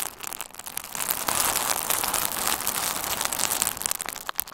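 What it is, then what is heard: Plastic bubble wrap being squeezed. A hand-sized bundle of pink and red plastic bubble wrap, with hollow air-filled bubbles, is squeezed with the fingers and thumbs of both hands. It gives a dense, irregular run of bright crinkling and sharp little pops, with almost no low end. The sound swells louder through the middle before thinning out at the end.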